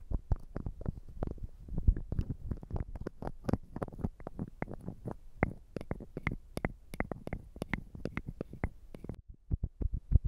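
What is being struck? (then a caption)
Small glass perfume bottle, partly filled. A small, square, clear glass perfume bottle, partly filled with liquid and bearing a printed label, is held in the hands and tapped and scratched with fingernails while being turned. Dozens of quick, soft taps and scratches follow one another with no pauses. They are mostly dull and low with brief bright clicks, and each dies away almost at once.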